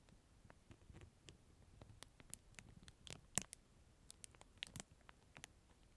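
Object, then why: Plastic disposable spoon in a plastic film wrapper. A clear plastic disposable spoon in a clear plastic film wrapper is held up and crinkled and scratched with the fingertips close to the mic. Quiet, scattered crinkles and sharp, bright ticks pop out over a soft, rustling bed, each dying away instantly.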